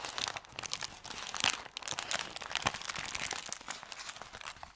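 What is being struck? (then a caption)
Thin kraft paper bag. An empty, crumpled paper bakery bag made of thin kraft paper is rubbed with fingertips, then lifted and crumpled by hand. The result is dense, bright crinkling and crackling with many quick, dry rustles and almost no low end.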